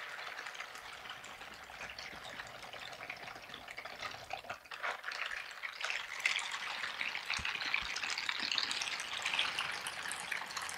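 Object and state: Silicone scrubber gloves rubbed together.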